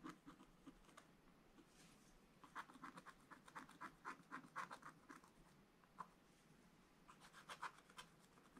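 A wooden stylus scratches near the bottom of a black scratch-art card in a spiral book, making quiet, uneven bursts of dry scraping. Short, bright strokes come in irregular clusters, with a lull in the middle and a louder cluster near the end.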